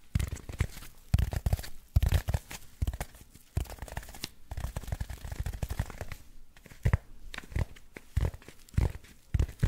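A black packing foam block with cut-out channels is held above the microphone and scratched and rubbed with fingertips and short nails. The result is a steady stream of dry, tearing and crinkling scrapes in uneven bursts, heavy in low thumpy body with faint bright grit and no ring after each stroke.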